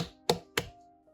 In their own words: 正确的方法用手掌支撑甜瓜的一侧然后用另一只手敲击另一侧